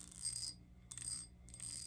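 A heavy crystal glass bowl, a candy dish found while reorganizing, is tapped with fingernails in quick bursts of light clicks. Each burst brings a bright, high-pitched, bell-like ringing that fades quickly between taps.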